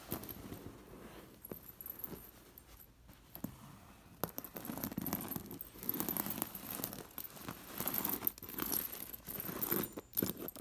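A hand brushes and scratches a sequined fabric cushion covered in metal sequin discs. The discs give off bright, dense jingling and clicking over soft rustling, with louder bursts of activity in the second half.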